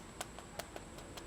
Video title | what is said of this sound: WHOLE CHICKEN PARTY TRAYS - Ninong Ry | Listen to how crispy it is.